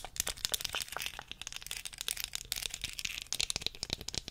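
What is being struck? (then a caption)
Small wooden comb. Long fingernails tap and scratch the body and teeth of a small solid wooden comb held horizontally. A rapid run of sharp, dry clicks and crackly scrapes sits almost entirely in the high, bright range, with very little low end and each click dying away almost instantly.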